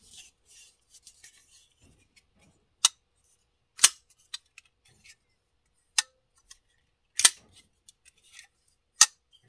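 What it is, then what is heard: Steel folding knife opening and closing. A pocket-sized Kizer Sheepdog steel folding knife, with a dark steel blade and dark handle, is held in one hand over a bamboo board while fingers flip the blade open and closed. Its metal pivot and lock give sharp, bright clicks that stop almost at once, with softer faint ticks and rubbing between them.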